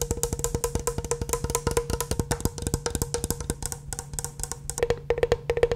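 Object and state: Metal-framed round hand mirror.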